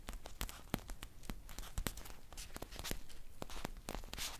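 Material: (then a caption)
Foil. A green foil tea pouch with a paper label is crinkled and scratched with long nails. It makes a quiet, dense stream of dry crackles and sharp, bright ticks with no ring, plus a low rumble underneath.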